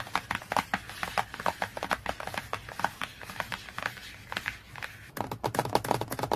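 Fingertips and nails tap and scratch rapidly across the glossy laminated cardboard cover of a large hardcover children's encyclopedia lying flat. The result is a dense run of short, dry clicks with a hollow knock centered around 830 Hz, mixed with brief scratchy hiss. The tapping eases briefly past the middle, then returns in a sharper, louder burst near the end.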